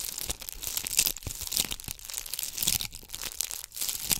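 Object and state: Beaded ornament ball scratched with nails.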